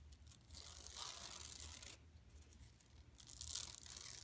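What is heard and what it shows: Long pink nails and fingertips scratch across a large, flat, yellow striped woven plastic mesh tote bag printed with a Buffalo Exchange bison logo, lying empty on carpet. The result is a bright, dry, rasping scratch in two sustained bursts separated by a quieter pause, over a faint low hum.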